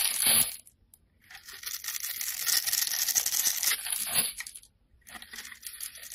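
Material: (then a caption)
Soap. A utility knife blade scrapes across a solid pink bar of soap held in the hand, its surface pre-scored in a grid, so small cubes crumble off. Bright, dry, crackly scraping comes in three bursts separated by brief pauses, with a long middle stretch. The sound has almost no low end and little ring.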